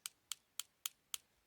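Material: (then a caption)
Steel. Five quick taps on the poll, the back end, of a steel axe head fitted with a handle, each a short, dry, high-pitched click that dies away almost at once. This end is not tempered, so it does not ring like the hardened bit.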